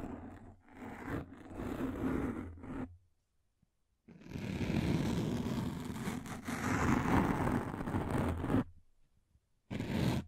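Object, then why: Thin frosted plastic sheet. A thin frosted plastic sheet is held in both hands just above the microphone, scratched with long nails and flexed. Dense, crackly scraping comes in long bursts with a heavy low rumble, separated by short silent pauses.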